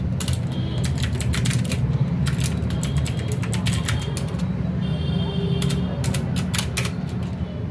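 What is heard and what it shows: Both hands type steadily with their fingertips on a full-size mechanical keyboard with plastic keycaps, a metal and plastic frame and RGB backlighting, lying on a desk mat. A continuous stream of bright, sharp key clicks and taps rides over a loud, steady low hum that fills the whole clip.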